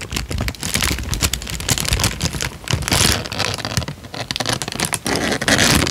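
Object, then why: Paper sheet. A creased tan paper sheet is bent, crinkled and held flat, giving a continuous run of dense, crackling crinkles. Broadband rustling reaches bright highs with a low rumble underneath, and the texture swells and eases without breaking into separate hits.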